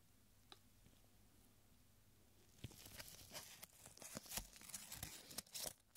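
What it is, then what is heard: Crinkled paper strip. A narrow, aged, stained paper strip reading "Don't turn off the lights" is held between the fingertips of purple nitrile gloves and stretched, flexed and crinkled. After a quiet start of about two and a half seconds with one faint tick, a run of bright, sharp crackles and crinkles follows, short and dry with no ring.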